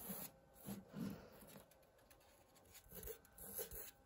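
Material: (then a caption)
Woven fabric. Long painted nails and fingertips scratch and trace along the weave of a large, flat, thin pink and beige printed woven fabric wall tapestry with lettering. Soft, dry rasping strokes come in short bursts with a faint low thud under each, separated by quiet, hissy pauses.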